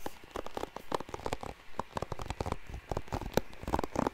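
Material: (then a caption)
Plastic. Fingertips rapidly scratch and strum the bristles of a blue plastic paddle hairbrush held close to the mic. The result is a quick, irregular run of dry, pattering clicks and crackles, each snapping off almost instantly, with a faint pluck-like tone around 500 Hz and most of the energy low rather than bright.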